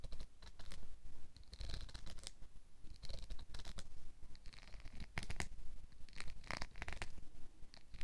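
A hand-sized black plastic wide-tooth comb is held in one hand while fingernails and fingertips strum and scratch across its teeth. The result is a fast, uneven run of dry, raspy clicks and scratchy bursts with a low rumble underneath. Each stroke stops dead, with no ring.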